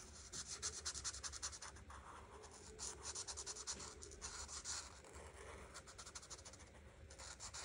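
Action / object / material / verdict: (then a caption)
scrape / paper coloring page rubbed with a marker tip / paper / none. An art marker tip is rubbed over a flat paper coloring book page in coloring strokes. The result is a quiet, bright, scratchy rubbing in quick, uneven bursts of strokes, with a faint low hum underneath.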